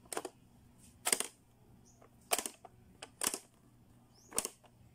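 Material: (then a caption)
Plastic. Fingertips press the switches and snap shut the spring doors of a blue, hollow, hard-plastic Playskool pop-up learning toy. The result is a series of sharp, bright plastic clicks with almost no ring, separated by quiet gaps.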